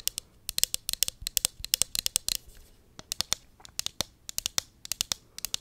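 A small, hollow pink plastic cosmetic pump bottle is held in hand and tapped and scratched with long acrylic nails. About 35 sharp, bright clicks come in quick, uneven bursts, with a brief scratchy rasp near the middle. Each click is dry and dies away instantly, with almost no low end.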